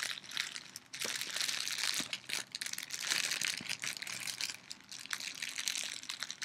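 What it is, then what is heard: Clear plastic bag being crinkled. A small, transparent, thin plastic bag is held in the hands and crinkled and rubbed with the fingertips and long nails. It gives a steady, bright crackling rustle with sharp little snaps throughout, almost all of it in the high frequencies and with no low end.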